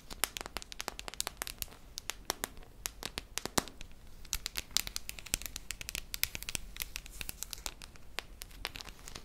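Long nails tap and scratch the metal side and rim of a hollow silver metal tin with a red lid, held close. The result is a quiet, steady stream of sharp, bright clicks with dry, crinkly scratching between them, each tap dying away almost instantly.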